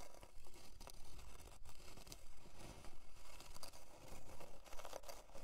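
Long dark nails scratch along the grain of a thin, flat, solid plywood heart-shaped board resting on faux fur. The result is a quiet run of dry, raspy scrapes with a low rumbling undertone, coming in uneven strokes and short bursts.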